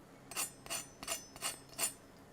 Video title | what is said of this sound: How To Cook - Roast Chicken Dinner | That's how crispy they are.